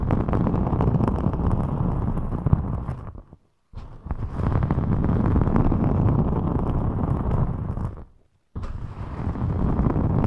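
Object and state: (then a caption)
Glitter EVA foam sheet being scratched. Long metallic nails scratch and rub a thin rainbow glitter EVA foam sheet bent over the microphone while the sheet is squeezed and flexed. It makes a dense, boomy crackling rumble heavy in the lows, broken by two short silences before the rubbing resumes.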